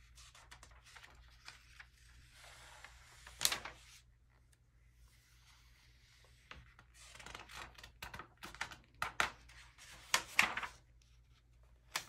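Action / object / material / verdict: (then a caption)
scrape / glossy paper magazine pages / paper / none. Fingertips and a palm rub across the pages of an open early-2000s vintage glossy paper magazine and flip its thin glossy pages over. Soft, papery rubbing and light scratches are broken up by louder, crisp, bright swishes as pages turn, with the loudest flips near the middle and end of the clip.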